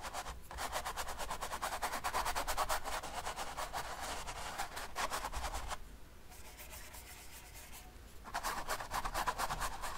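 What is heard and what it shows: A flat bristle brush scrubs back and forth over wet oil paint on a large stretched canvas lying on a table. It makes a quick, steady run of dry, raspy rubbing strokes with a bright, papery hiss. The strokes pause for about two seconds near the end, then resume.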